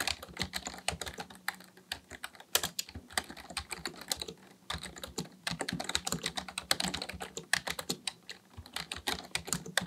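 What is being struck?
Plastic computer keyboard.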